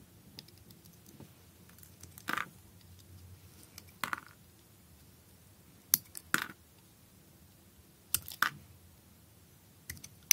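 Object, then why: Solid bar soap cut with a blade. A utility knife blade cuts and shaves slices from a solid blue speckled bar of soap held in the hand. About eight short, crisp, bright scraping cuts come at irregular intervals over a quiet, low background hum.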